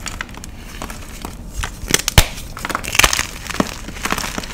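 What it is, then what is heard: Gym chalk block being crushed. A solid, palm-sized white block of magnesium carbonate gym chalk is crushed and crumbled in the fingers of one hand. Dry crunches and bright crackles come in a quick irregular run, the sharpest snap about halfway through, as powder and chunks fall away.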